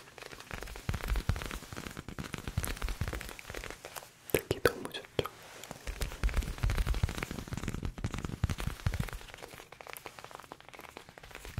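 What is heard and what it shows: Fingers tap on the worn leather ear pads of an old headphone, producing a dense run of soft, sticky tapping sounds. The taps are mostly low and muffled, with faint crinkly texture and occasional louder clusters.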